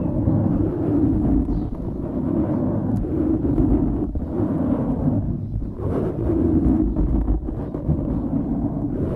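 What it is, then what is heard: Foam microphone windscreen being scratched. Fingertips scratch and squeeze a dark grey foam windscreen on a microphone, making a dense, continuous rumbling crackle that sits low and muffled with no bright content. The scraping swells and eases in waves throughout, with brief dips near the middle.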